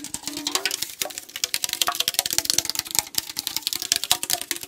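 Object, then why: Aluminum drink can. A tall aluminum AriZona tea can, held horizontally, is tapped quickly along its body with fingertips and nails. The result is a dense, fast run of sharp, bright metallic clicks that stop almost instantly, over a faint hollow tone from the can.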